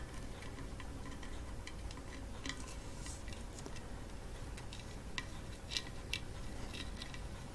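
Long orange false nails tap rapidly on the painted wooden top of a hollow coconut shell kalimba, striking the wood around the metal tines without plucking them. The result is a quiet stream of sharp, dry, high-pitched clicks and ticks over a steady low rumble, with a few brighter taps standing out near the end.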